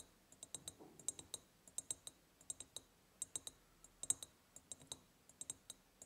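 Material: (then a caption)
Glass. A large, ribbed, clear glass jar, hollow and seemingly empty apart from a small tealight holder at the bottom, decorated with a gingham and lace ribbon and a hanging white ceramic heart, is tapped on its sides with long purple-painted nails. About 28 quick, quiet, bright clicks come in irregular clusters, each dying away almost instantly with a faint high glassy tone and almost no low end.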